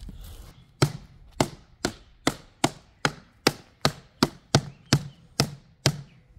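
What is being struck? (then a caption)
Steel safe. A gloved person strikes the top of a large, heavy, hollow steel safe sitting outdoors on the ground with a blue-handled sledgehammer. Thirteen sharp, evenly spaced hammer blows ring out, each a dull low thud with a bright metallic clank that dies away quickly, after some brief low rustling at the start.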